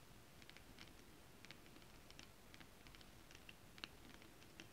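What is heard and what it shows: Long acrylic nails tap quickly on flat holographic foil fabric printed with a mermaid scale pattern. The result is a quiet, steady patter of short, bright, dry clicks that die away almost at once, with a few sharper taps standing out.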